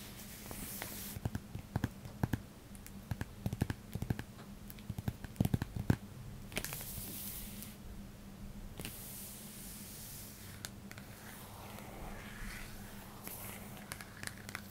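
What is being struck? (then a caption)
Paper wall calendar in plastic shrink wrap. Long nails and fingertips scratch and rub across the crinkly front of a large flat paper bird wall calendar, still sealed in clear plastic shrink wrap and held upright on a bed. Quiet, sharp crinkling scratches and clicks come in quick bursts through the first six seconds, then ease into softer, hissy rubbing with occasional ticks. A steady low hum runs underneath throughout.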